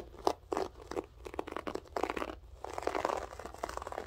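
Long French-tip nails dig and scratch into the loops of a grey loop-pile berber carpet. The result is a quiet run of dry, crunchy, crinkly scratching bursts, centred in the low-mid range, with short uneven strokes that run together into denser scraping toward the end.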